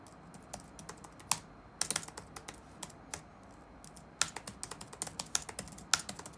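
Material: Plastic.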